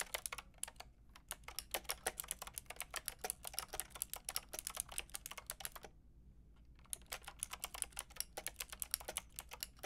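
Rapid typing on a Lofree mechanical keyboard with a white plastic case and round pink and grey plastic keycaps, struck with fingertips and long red nails. A fast stream of bright, dry plastic clacks with no ring, pausing briefly about two-thirds of the way through before resuming.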